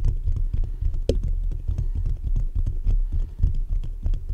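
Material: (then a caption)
Metal mesh. Fingertips of both hands continuously scratch and tap the top of the hollow metal mesh grille on a black USB condenser microphone. The result is a dense, irregular stream of deep, boomy thumps and low rumbling scrapes, with one sharper, brighter tap standing out near the start.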